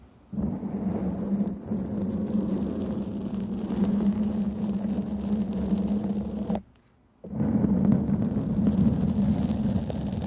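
Long painted fingernails of both hands scratch a black foam microphone windscreen, producing a dense, continuous rustling scrape with a low, humming rumble around 200 Hz. The scratching breaks off into near silence for about half a second at 6.7 seconds, then resumes just as strongly until the end.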